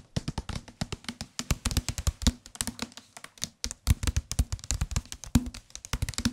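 A solid white and green softcover paperback book, held in the hands, is tapped quickly with the fingertips on its front cover. The result is a rapid, uneven stream of soft, dull taps with a low thumping body and almost no ring, broken by a few brief pauses.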